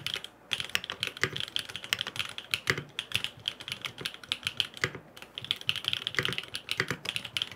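Fingertips type rapid taps on a grey aluminum FROG MINI mechanical keyboard with blue and purple plastic keycaps and no foam inside. The clacks are crisp and bright, with a dense run of short, quickly fading hits that pause briefly near the five-second mark.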